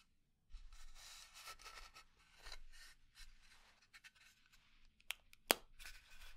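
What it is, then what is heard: Pine wood box. A small hollow pine wood box has its lid slid open, giving soft, breathy wood-on-wood scraping and sliding sounds. Near the end, a few sharp, bright nail taps click on the box.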